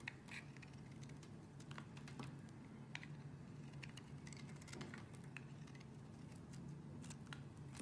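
A small black metal blade, held by a hand with long red nails, scrapes along the edge of a solid white soap bar with an embossed pattern held upright, cutting off flakes that fall onto the table. The scraping cut makes a quiet, continuous run of soft, crisp, bright ticks and brief scratches over a low, steady hum.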